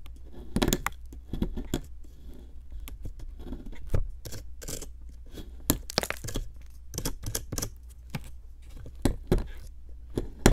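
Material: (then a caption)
Plaster. A metal pick with a wooden handle chips and scrapes at a solid pink plaster block sitting in a plastic tray. A series of short, sharp, gritty scrapes and crumbly clicks, with bright edges, comes in irregular bursts over a steady low hum.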